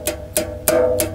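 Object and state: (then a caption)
Thin-walled, weak metal drink bottle. Four finger flicks against a metal Venom Energy Black Mamba energy drink bottle give short, bright ticks, each with a ringing tone near 625 Hz that fades over about half a second. The bottle is thin-walled, squishy and weak, unlike the older, nearly steel-hard version that was difficult to dent and would not make this sound when flicked.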